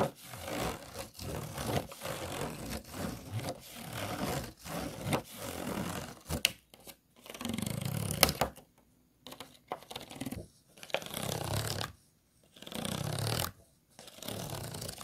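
Fingernails scratch the vertical ridges and bumps of an empty, thin, hollow, clear disposable plastic food container. Rapid, dry, rasping scrapes run almost continuously at first, then come in separate bursts with short silent pauses between them.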